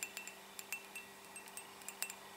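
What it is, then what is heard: Ceramic mug. A black and orange ceramic Nightmare Before Christmas mug, printed with Jack surrounded by bats, is tapped ten times in an irregular run. Each tap is a quiet, bright, chime-like clink pitched around 2.7 kHz that dies away almost at once, with no low-end body.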